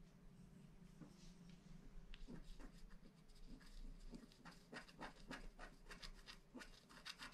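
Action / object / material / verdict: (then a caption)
scrape / wax-coated paper scratch card scraped with a wooden stylus / coated paper / none. A wooden stylus scratches the outline of a planet at the bottom of a flat black wax-coated paper scratch art card. Quiet, dry, irregular scratching strokes with bright edges come in quick bursts over a steady low background hum.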